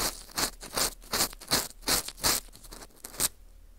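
An orange plastic earpick scrapes the inner hole of a porous dried wheat gluten ring (fu) held in gloved hands. It makes a steady series of short, dry, bright scratching strokes, each fading quickly. The strokes end with a faint quiet tail.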